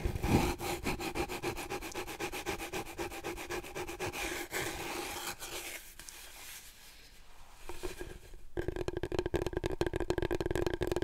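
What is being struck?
Long cardboard roll core.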